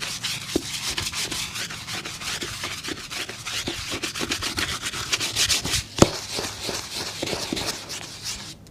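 A hollow, empty black leather work shoe, held upright in one hand and covered in white soap foam, is scrubbed in quick strokes with a small brush held in the other. The result is a steady, bright, bristly rubbing with a wet, foamy hiss, plus one sharper knock about six seconds in.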